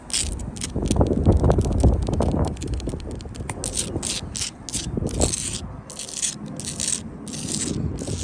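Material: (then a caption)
Sandstone. Long blue-tipped acrylic nails scratch and tap the rough stone faces and grey mortar joints of a solid outdoor wall of sandstone blocks. The sound is a dense, gritty scraping with a low rumbling body, broken by quick bright clicks and taps that repeat unevenly throughout.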